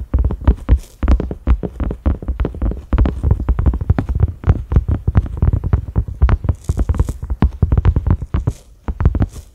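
Fingertips and short nails of both hands tap rapidly across a cream silicone pot lid with concentric ridges and a black center knob. The taps are soft, dull, low thuds with almost no ring, broken by a few faint bright clicks from the nails.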